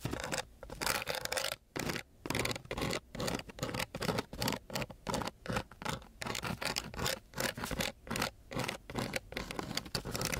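A flat wooden stick is scraped back and forth along the grit of a coarse sheet of sandpaper. It makes a dry, broadband scratching in a series of short, uneven strokes separated by brief pauses, each bright and raspy with little low end.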